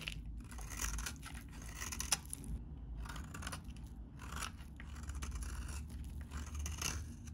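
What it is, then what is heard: Dry bar soap being scraped. A metal utility blade scrapes and cuts crumbly flakes from a very dry, vintage, solid beige bar of soap held in the hand. Bursts of dry, bright scraping and crackling come and go over a steady low rumble, with sharp crunchy peaks as the flakes break away.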